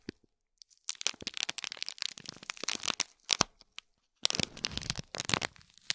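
Fingernails scratch and crinkle the plastic film around a small gold foil-wrapped cube gift box. Dense, bright crackling and crinkling comes in irregular bursts, with a brief lull just before the second second and a short silence near the fourth second before the rustling resumes.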